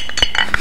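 A can holding an unknown item wrapped in paper or plastic is shaken, and the hidden object rattles inside. Short, bright clinking knocks around 3 kHz come in quick bursts over a low background hum, each dying away almost instantly.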